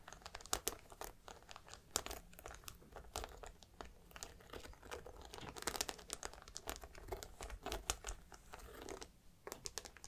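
Long black nails tap and scratch the metal studs on the curved top edge of a grey suede handbag. The result is a quiet, steady run of sharp, bright clicks over a dry, crinkly scratching rustle, with a few louder taps standing out.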